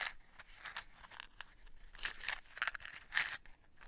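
A small printed cardboard matchbox, closed and held in the hands, is tapped and scratched on its faces and edges by long white nails. The result is a quiet run of dry, papery taps and scratchy rasps with a bright, crisp edge and almost no low end, each touch dying away quickly.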